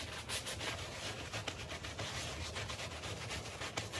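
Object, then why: Woven textile rug scrubbed with a bristle brush. A dirty, small patterned woven textile rug covered in soap foam is scrubbed with a handheld bristle brush while a palm presses the rug down. The result is a steady, bright, hissing rub of bristles through wet foam, with a low hum underneath and a few slightly sharper strokes along the way.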